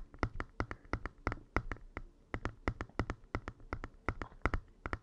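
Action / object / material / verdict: tap / plastic handheld game console / plastic / none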